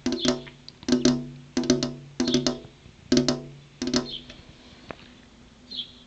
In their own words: Tapping on a glass window (ASMR)